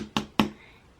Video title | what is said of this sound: PARIS BAGUETTE MUKBANG - French pastries by Koreans | if you tap on it it sounds kind of like a basketball